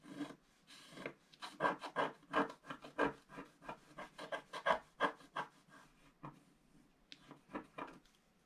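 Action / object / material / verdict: scrape / wax-coated scratch art paper scraped with a wooden stylus / coated paper / none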